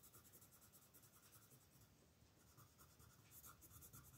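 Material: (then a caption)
Paper. A blue wooden colored pencil is stroked steadily across a flat paper coloring book page near its right edge while the other hand holds the page still. The soft, scratchy strokes repeat in a loose rhythm, with a bright papery hiss over a low, quiet rustle.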